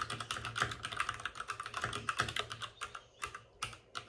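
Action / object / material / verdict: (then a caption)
tap / plastic mechanical keyboard keycaps / plastic / none. Both hands type rapidly with their fingertips on the plastic keycaps of a white plastic backlit RGB mechanical computer keyboard, which sits on a desk with a padded wrist rest. The result is a dense stream of short, bright clicking taps centered around 1.3 kHz, with each tap decaying almost instantly. A faint low hum sits underneath, and there are brief pauses near the end.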